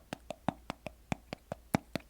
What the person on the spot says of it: you can always rely on these uh plastic reusable mason jar tops for some good tapping